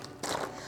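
Pieces of tofu marinated in satay sauce and baked crisp in the oven are handled, giving a short, dry crunch with a brief crackle. The burst rises abruptly over a quiet background, spreads across mid and high tones, and fades within about half a second.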